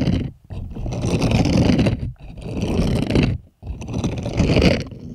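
Plastic puppet hands scratch and scrape the bristles on the palm of a purple bristled silicone scrubbing glove. Four long bursts of rough, dense scraping rustle are heard, separated by brief silences, with a heavy low-end texture and faint bright edges.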